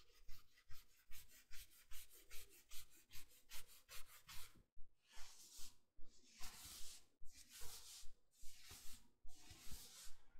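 A navy, soft plush fleece bathrobe is being worn while fingertips and nails scratch and rub its sleeve and front. A steady, regular run of soft, bright scratching strokes is heard, quick and short in the first half, then longer, broader rubbing passes follow.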